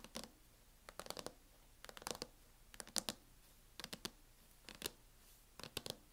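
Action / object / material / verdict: tap / plastic laptop hard-shell case / plastic / none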